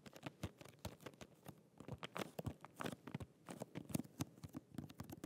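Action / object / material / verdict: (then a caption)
tap / cardboard and plastic press-on nail package / cardboard, plastic / none. Fingernails tap and scratch a small, flat holographic cardboard press-on nail box with a clear plastic window, held in both hands. A quiet, rapid run of short, dry taps mixes with crinkly, crunchy scratches. Each tap has a soft low thump and dies away almost instantly.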